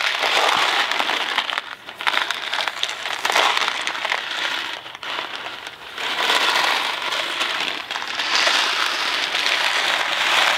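A small Kraft macaroni and cheese cardboard box filled with dry pasta is shaken, then tapped on its sides with fingertips. The loose pasta makes a dense, bright rattle and crinkle that surges and eases in waves with brief quieter gaps, and there is almost no low end.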